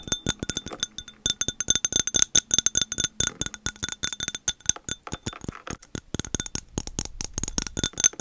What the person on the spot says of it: 5:17 - 6:34 Tapping on glass